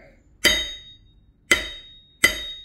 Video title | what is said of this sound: 1/2 VW Build - Crankshaft Comparison CORRECTION! | more of a thud but it still has a ring to it depending on where you tap it it's got a nice ring